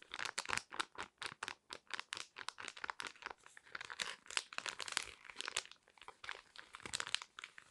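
A small, flat yellow foil-laminate sheet mask sachet, sealed and full, is crinkled and scratched with long red nails. It makes a quick run of dry, bright crinkles and scratchy rustles with almost no low end, each burst cutting off sharply.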